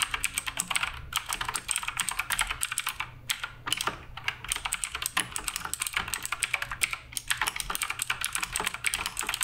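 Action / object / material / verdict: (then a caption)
tap / mechanical keyboard with plastic keycaps / plastic / none. A black RGB Redragon K588 Broadsword mechanical keyboard with plastic keycaps is typed on rapidly with the fingertips of both hands. A fast, uneven stream of short, bright clicks and clacks centres around 3 kHz, each dying away almost instantly over a faint low hum, with a couple of brief pauses.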